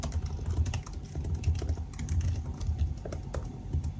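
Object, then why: Laptop keyboard with plastic keys in an aluminium body. Both hands type continuously with their fingertips on the black plastic keycaps of a silver aluminum laptop resting on a desk. The result is a steady stream of short, soft key taps with a muffled, low-heavy thud and very little high-end click.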